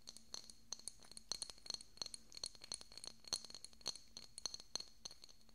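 Fingernails tap and scratch the surface of a small, hollow, decorative pink glass bottle with a cork stopper, held beside the microphone. The result is a quick, uneven run of sharp, bright clicks and high glassy chinks with very short ring. Soft scraping fills the gaps between the taps.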